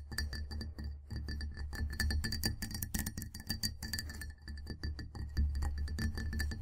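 Long nails from both hands tap rapidly on the sides of a clear glass mug with a handle, full of tea and standing on a table. The result is a dense run of quick, clinking taps with a bright, sustained ringing tone near 2 kHz and higher, over a steady low hum.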